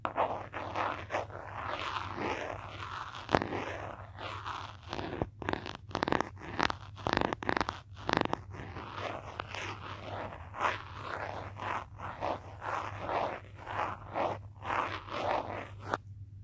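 A pen or marker is tapped and traced along the back of a teal hard plastic case on a handheld smartphone, which is also doing the recording. Close, scratchy tracing strokes alternate with sharp plastic taps, some brighter bursts standing out, over a steady low hum. The sound falls quiet just before the end.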